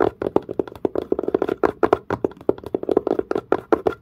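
Fingertips and nails tap quickly on the dark, pebble-grain, leather-like curved surface of a textured leather-covered case. About 26 short, dry knocks come in a fast, uneven rhythm, each a muted, woody thump centered around 410 Hz with a crisp click on top and almost no ring.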